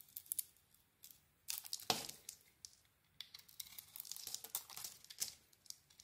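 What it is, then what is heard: Bar of soap being carved. A solid gold "Cleopatra" bar of soap with a cream interior is carved into curls with a utility knife blade. The result is a run of dry, bright scraping and crinkly shaving sounds in short bursts. Louder strokes stand out around the second and fifth seconds, with quiet pauses between them.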